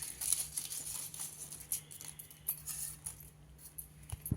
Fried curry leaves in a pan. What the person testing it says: चांगला खुळखुळ आवाज येतोय इतका छान तळला गेलाय